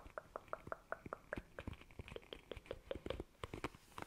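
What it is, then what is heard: Plastic paddle hairbrush, bristles flicked. Long nails quickly scratch and flick the bristles of a black plastic paddle hairbrush. The result is a rapid, quiet series of short, springy plinks with a soft pitched ring around 500 Hz. Faint scratchy rustle runs between them.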